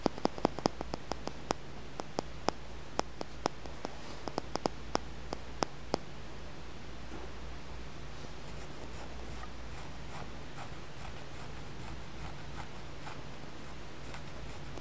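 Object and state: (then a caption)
Polished stone. A small, solid, dark blue polished tumbled stone, possibly sodalite, is held in the fingers and tapped and scratched with the fingernails. A quick series of sharp, dry clicks fills the first six seconds. After that come softer, fainter scratching ticks over a steady low hum.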